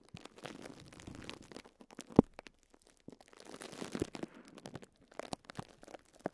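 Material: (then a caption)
Plastic film. Fingertips with short nails press and crinkle thin clear plastic cling film wrapped around a small pink and yellow sponge block. Quiet, irregular crackling and soft crunching come in bursts, with one sharper, louder snap near the middle of the clip.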